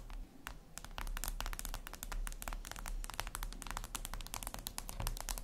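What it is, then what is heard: Fingernails tapping a glass screen. Long red nails tap rapidly on a flat, glossy black reflective glass surface, likely a tablet screen, making quick typing-like clicks. The sharp, bright clicks die away almost instantly and come in a dense, uneven stream over a steady low hum.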